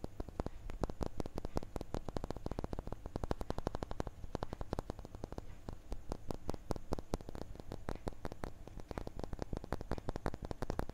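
A small, solid, clear laser-engraved glass crystal cube, with an engraving inside, is held in one hand and tapped and scratched with the fingertips and nails of the other hand. A fast, steady stream of short, dry clicks and taps is heard, with a low, dull body and little high ring. Each hit dies away almost instantly.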